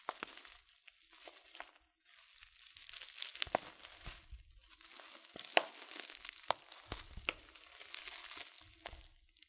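A filled, glossy coated-paper loose-leaf tea packet is squeezed, crinkled and tilted in the hand. Soft, bright crinkling rises and falls, with sharp crackles scattered throughout and a brief lull near the two-second mark. Overall the sound stays quiet, with almost no low end.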